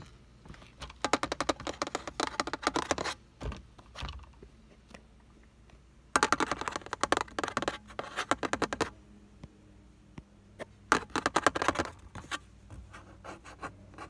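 Fingertips and nails tap and scratch the paper/vinyl airbag warning sticker on a flat, light, beige plastic and fabric-covered car sun visor. Rapid, dry, clicky taps and scratchy strokes come in three dense bursts, with quieter scattered taps in between. Each sound stops almost instantly with no ring.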